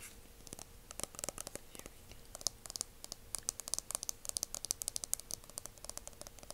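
A dark, hand-sized aluminum hair mousse aerosol can, hollow metal, is held in both hands and tapped and scratched along its body with the fingertips and nails. Quick, dry, bright clicks and scratchy taps come in an irregular stream, with almost no ring after each hit and a faint steady hum underneath.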